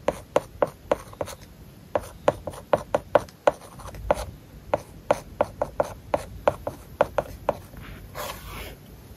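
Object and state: Stylus writing on a tablet with a matte paper-like film.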